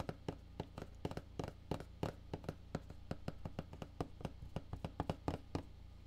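Fingertips tap the side and top of a black printed Solid State Logic cardboard box, making 27 short, dry taps in a steady, irregular rhythm. Each tap is a soft, hollow, low thump that dies away almost instantly with no ring.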